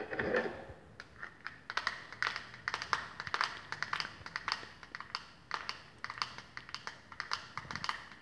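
A flat rectangular plastic glitter eyeshadow palette with a clear lid showing the glitter pans is held in the hands and tapped quickly with long painted fingernails. The result is a steady run of rapid, light, bright plastic clicks that die away almost instantly, coming in uneven bursts with little low-end weight.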